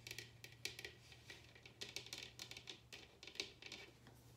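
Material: Bamboo.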